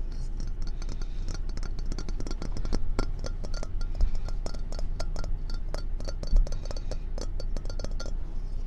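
Long painted fingernails tap quickly and repeatedly on a hand-sized, hollow, empty ceramic mug shaped like a fox, glazed orange and white and held in the hand, striking its body, white feet and rim. Each tap is a short, bright clink that dies away almost at once, heard over a steady low hum.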